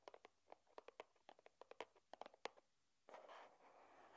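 Long nails tap on the top of a small, flat, white, hollow cardboard box for a charging cable resting on a wooden table. They make a quick, uneven series of light, dry, hollow clicks with midrange body. After a short pause, a continuous soft, bright rustling scrape follows until the end.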